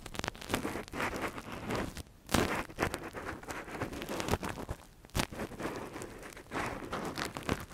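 A gloved hand scratches inside the hollow canal of a soft, translucent silicone ear model used as a binaural microphone cover, using a thin metal earpick. Close, dense scraping and crackling fills the clip in bursts, with sharp louder scrapes standing out around the middle.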